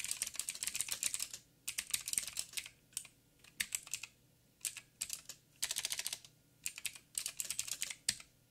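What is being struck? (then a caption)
Plastic mechanical keyboard. Fingertips of both hands type on a backlit 87-key mechanical keyboard with plastic keycaps and clicky blue switches. Quick bursts of sharp, bright clicks are separated by short pauses. Each click is crisp and dies away almost at once, with very little low-end weight.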